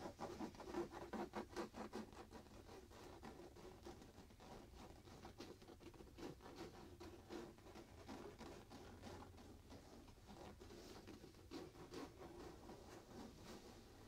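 A soft printed fabric pillow is hugged close while both hands scratch and rub its fabric surface with the nails. The result is a quiet, muffled, loosely rhythmic patter of scratching strokes, slightly louder in the first two seconds, then steady and dull with little brightness.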